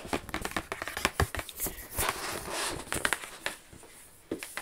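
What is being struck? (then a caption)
Rigid cardboard gift box. Long acrylic nails tap and scratch across the lid of a medium, flat, rigid black cardboard gift box bearing a Versace logo, hollow and closed. Quick, dry clicking taps mix with crinkly, bright scraping strokes that die away almost instantly.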